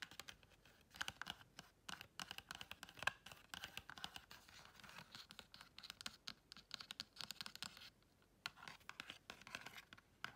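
A small pink and gold patterned, paper-covered cardboard gift box is held in the hand while long red chrome nails scratch and tap its surface. Quick, dry, bright scratching mixes with rapid light taps that stop almost instantly, with a brief lull near the eight-second mark. The sound is quiet and crisp, with almost no low end.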